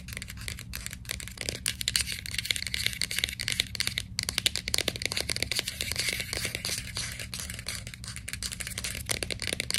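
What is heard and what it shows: A white plastic capsule bottle for vitamins is held in both hands while long nails scratch and tap on its label. The result is a dense, rapid stream of crisp, bright clicks and scratchy rustles over a steady low hum.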